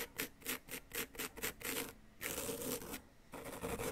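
A flat wooden chisel tool scrapes and rasps a solid yellow-green plaster dig-kit block, producing powder. Quick rhythmic strokes give short, bright, gritty rasps, followed by longer continuous scrapes separated by brief quiet pauses.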